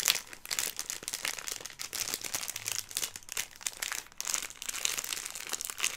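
Fingertips and nails crinkle and squeeze a filled Airheads plastic film candy bag, producing dense, bright crackling and crinkling with almost no low end. The rustling runs continuously in quick, sharp bursts that swell and fade throughout the clip.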